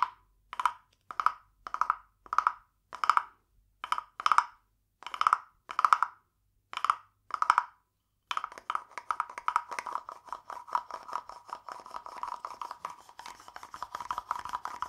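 A small hollow carved wooden frog guiro, painted glossy green with a ridged back, is held in one hand and rubbed and tapped along its ridges with a green wooden stick. At first it gives a series of separate, short, hollow croaking rasps with a mid-pitched woody tone around 1.2 kHz. After about eight seconds, it turns into a fast, continuous run of dry clicking scrapes and taps.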